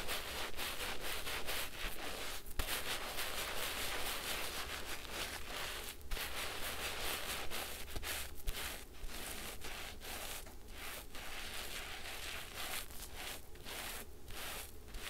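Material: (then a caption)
Foam. A large, wet, soapy pink porous foam sponge is rubbed and scratched by fingertips over a basin of suds. Steady, irregular strokes of bright, hissy rubbing and scratching repeat about twice a second over a constant low hum, with no clear pauses.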